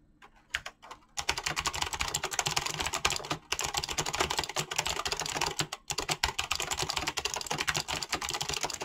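Fingertips with short nails type on a mechanical keyboard with clicky switches and PBT plastic keycaps. A few light taps open the clip, then a rapid, steady stream of bright, crisp clicks follows, broken by two brief pauses. Each keystroke is short and dry, with almost no ring.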